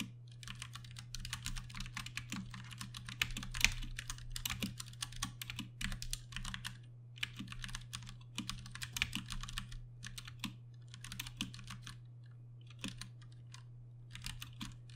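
Two hands type with their fingertips on a compact RGB Ducky One 2 Mini mechanical keyboard with Cherry MX Brown switches and plastic keycaps. Bright, clicky keystrokes come in quick, dense bursts separated by short pauses, over a steady low hum.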